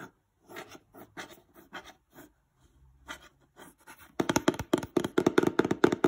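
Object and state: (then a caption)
Cardboard box, scratched and traced. A fingertip and nail trace and scratch along the printed installation diagram on the side panel of a glossy printed cardboard Christmas lights box. Soft, separated brushing strokes with short pauses give way after about four seconds to louder, rapid, continuous scratching that rasps across the glossy surface.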